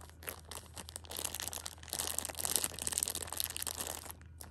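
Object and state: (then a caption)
Plastic-wrapped pocket tissue multipack. A hand with long nails grips, squeezes and scratches a small Shopkins pocket tissue multipack in clear plastic wrap, full of tissue packs. Dense, bright crinkling and scratching of the plastic fills the clip, growing louder through the middle before easing off. A low steady hum sits underneath throughout.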